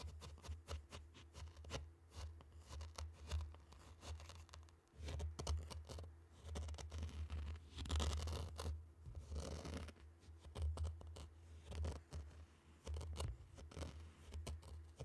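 Two round wooden sticks poke and drag through a tray of loose, dry, fine pink-orange sand, scraping the grains. The result is a rapid run of soft, gritty scratches and ticks over a steady low hum, with a denser, brighter burst of scraping near the middle.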